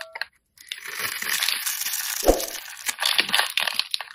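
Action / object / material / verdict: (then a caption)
scrape / bar of soap scraped with a metal blade / soap / none. A metal blade scratches and scrapes small cubes off the pre-scored surface of a solid, palm-sized pink and white striped soap bar held in the hand, and crumbs fall. Dense, bright crackling scrapes run in bursts, with a short silence near the start and a duller knock partway through.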